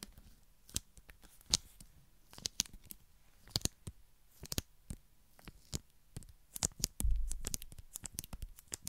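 Long nails tap a small metal vegetable can with a printed green label, held close to the microphone. The result is an irregular run of quick, dry, bright clicks with almost no ring, with a louder, denser cluster of taps and a low thump around the seven-second mark.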